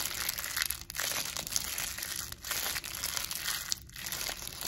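A clear, thin plastic medical packaging wrapper with a printed label is held in both hands and crinkled and rubbed between fingertips with long blue nails. It makes a continuous bright, crackling crinkle, mostly high-pitched with little low end, with a few brief dips in loudness between bursts.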